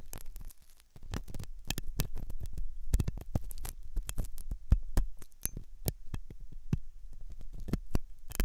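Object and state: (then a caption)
Silicone ear model. A metal dental pick scrapes inside the hollow ear canal of a white, soft silicone ear on a binaural microphone. Dense, short scratching clicks and rasps come in quick bursts over a deep low rumble, with brief bright crackles flicking through.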